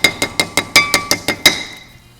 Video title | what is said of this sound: How To Install a Disc Brake Conversion on the 1959 Cadillac Eldorado Biarritz | you can hear that it's ringing. It's another situation we find where the sound you'll be able to recognize it.